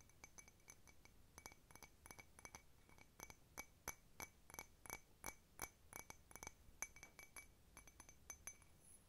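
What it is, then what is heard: Ceramic cup. A blue patterned ceramic cup, hollow and empty, is held sideways and tapped with long nails. The result is a rapid, irregular run of clear, bright ringing clinks with short decays and steady tonal partials in the high range.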